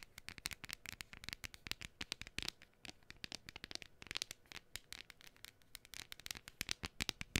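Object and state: Cardstock cutout.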